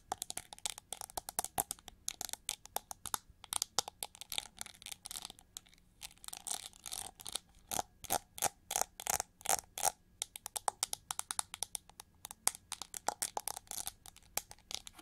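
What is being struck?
Plastic winged hair brush.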